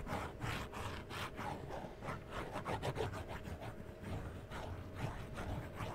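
Fingernails scratch and tap the sides and edges of a small, hollow cardboard collectible toy box with a plastic window and a printed yellow side, held in one hand. Soft, dry scraping strokes repeat quickly and unevenly, about three per second, with a dull, low-heavy texture and short taps that barely ring.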